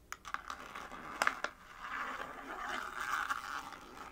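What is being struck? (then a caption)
Small paperboard box. Long nails rub and rasp across the surface of a small, hollow printed paperboard box. Several sharp, dry taps and clicks in the first second and a half give way to a steady scratchy rasp, centered around 1.2 kHz with some bright edges. The overall level stays quiet.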